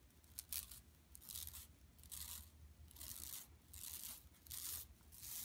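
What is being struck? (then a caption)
Woven plastic mesh bag. Long nails scratch across an empty, flat yellow woven plastic mesh tote bag lying on carpet. The result is bursts of bright, dry, scratchy rasping that come and go at an uneven pace, over a faint steady low hum.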